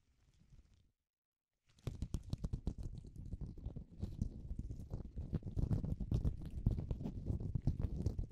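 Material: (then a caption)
Latex. A single loose, empty, cream-coloured thin latex glove is held up by the cuff in front of a microphone, without touching it, and shaken and crinkled with the fingertips of a bare hand. A faint, low rustle is followed by a short silence, then a dense run of quick crackles and crinkles with a heavy low-end rumble. The crinkling grows steadily louder toward the end.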